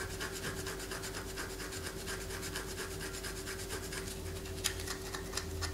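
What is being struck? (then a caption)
Bar of soap. A palm-sized solid white bar of soap, held in the hand, is scratched with long fingernails, shedding shavings onto a paper poster. Dry, raspy scratching strokes repeat at an uneven pace, with bright, crackly edges and a couple of sharper scrapes near the end. A faint steady hum sits underneath throughout.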